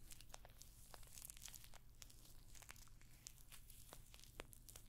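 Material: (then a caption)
Metal studs. Long nails scratch and tap across the rows of small, hollow rose-gold metallic pyramid studs on a rectangular clutch bag held up close to the microphone. Quick, dry bright clicks and crinkly scratching scatter densely over a steady low hum, each tick dying away almost instantly.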